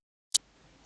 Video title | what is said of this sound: ХЛІБЕНЯТКО З ДИТИНСТВА. ЯК ПЕРГАМЕНТ МОЖЕ ЗІПСУВАТИ ХЛІБНУ ШКОРИНКУ. | ось такі вигляд має щойно спечений хлібчик якщо постукати по ньому то ви почуєте такий глухий звук